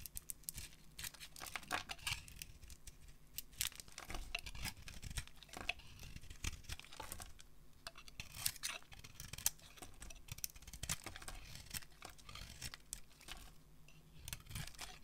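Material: Soap.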